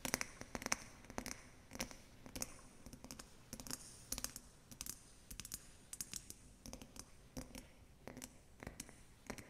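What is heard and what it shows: Long acrylic nails tap the top and sides of a small round clear glass snow globe, filled with water and holding an angel figurine, resting upside down on fabric. Quick, irregular bright clicking taps with very short ring sound in clusters over a quiet background.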